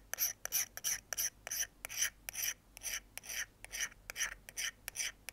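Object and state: Steel folding knife blade being scraped.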